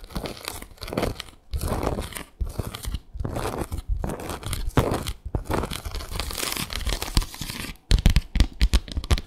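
Long acrylic nails scratch across the slats of a small, flat bamboo slat mat. Dry, crackly rasping comes in bursts of strokes separated by brief pauses, heavy in low rumble with a faint bright edge. It ends in a quicker run of sharp, clicky scrapes.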